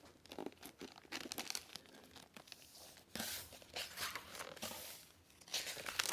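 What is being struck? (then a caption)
Hardcover book with plastic-covered dust jacket and paper pages. A large hardcover library book, After the Civil War, with a crinkly plastic-protected dust jacket lies open on a table while hands with long nails smooth and turn its matte paper pages. Bright crinkling of the plastic cover and dry rustling of the pages come in short bursts, growing louder and denser in the second half.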